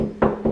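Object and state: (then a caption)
Solid concrete wall. Two knocks on a concrete wall, each a short, dull, full-sounding thud with a low-mid body and quick decay, showing it is solid. A solid wall like this calls for plastic concrete anchors when mounting shelf battens.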